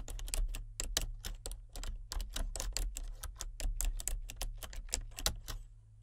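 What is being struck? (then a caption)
Plastic membrane computer keyboard. Fingertips type steadily on the main keys and number pad of a solid, full-size plastic membrane computer keyboard with a colour-changing backlight. Each keystroke makes a short, bright, dry click that dies away almost at once, and a steady low hum runs underneath throughout.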